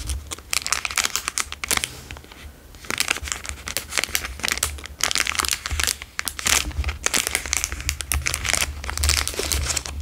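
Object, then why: Plastic chocolate bar wrapper. A plastic Dairy Milk chocolate bar wrapper is folded, pressed and crinkled with fingers, producing dense, bright crackling bursts. The crinkling eases briefly after about two seconds, then returns in rapid clusters over a steady low rumble to the end.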